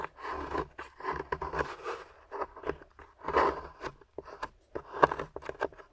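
A metal pick with a wooden handle scrapes at a grey plaster fossil dig block with yellow fossil bits, while long-nailed fingers steady the block. The result is a run of short, dry, gritty scraping strokes with small crunchy clicks, centred in the midrange around 1 kHz, each stopping dead with almost no ring.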